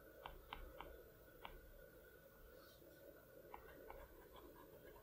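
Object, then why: Glass tablet screen with plastic stylus tip. A plastic Apple Pencil tip taps and clicks on the large, flat glass screen of an iPad Pro. Six short, sharp, bright clicks come in two loose groups, four in the first one and a half seconds and two more near the three-and-a-half-second mark. A low, steady hum sits underneath with soft scraping between the taps.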